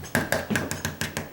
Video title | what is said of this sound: Condo Rehab What to Do Before Painting/Part 6 | It's kind of like a heavy plastic or metal something.